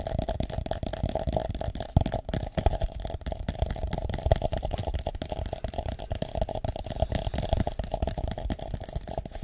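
Fingertips tap and rub the base and sides of an empty, hollow, drinking-cup-sized purple plastic cup held up close in both hands. The result is a continuous run of quick, dry, hollow taps over soft rubbing, mostly low and thumpy with a steady mid-range resonance and very little ring.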